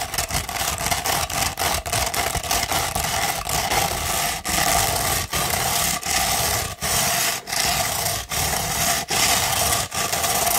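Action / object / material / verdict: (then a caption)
scrape / rolled sandpaper sheet / sandpaper / none. A sheet of sandpaper rolled into a tube is scratched quickly with long pointed nails, giving a dense, gritty, bright rasp. Rapid short strokes come first, then longer sustained scratches separated by brief gaps. A faint band around 800 Hz runs beneath the scratching.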